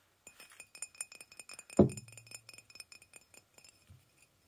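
Fingernails and fingertips tap and knock on the side of an empty-looking, hollow white glazed ceramic mug with a handle, held in both hands. About twenty quick, light clinks ring with a steady bright tone. One heavier knock near the middle gives a louder, deeper thud that hums briefly.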